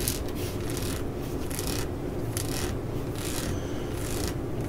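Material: Rubber.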